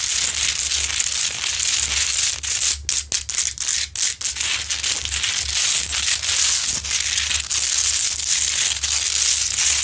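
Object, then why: Large rock-salt lamp. Long pointed nails claw and scratch the crystalline surface of a large, glowing, solid rock-salt Himalayan salt lamp, producing a dense, bright, gritty scraping. The scraping is broken by a flurry of short, sharp scratches in the middle before the steady scraping resumes.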